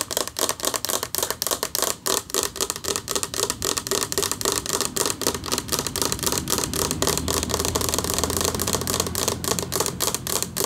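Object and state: Metal plaque tapped with nails.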